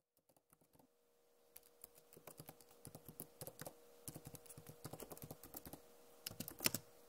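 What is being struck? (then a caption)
Plastic laptop keyboard keys. Long nails and fingertips tap and type on the hollow keys of a backlit plastic laptop keyboard. The result is a quiet run of short, bright, clicky taps that start sparse and then come in quick clusters. A faint steady hum sits underneath.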